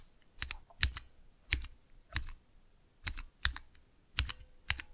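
Fingertips press and tap the clear plastic keycaps of a small 3x3 switch tester built on Cherry MX switches in a clear plastic base, resting on dark velvet. Short, crisp keystrokes come in irregular pairs and clusters, each a bright plastic clack over a low thock that stops almost at once. Quiet gaps fall between the presses.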